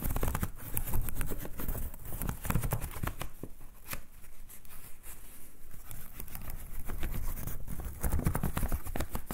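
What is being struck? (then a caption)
Folding fan with thin wooden ribs and paper. Fingertips and nails flick and scratch along the stacked thin wooden ribs of a partly closed folding hand fan with wooden ribs and red paper. The result is a steady stream of quick, dry clicks and scratchy rasps, each snapping off almost instantly, with a soft low rumble underneath throughout.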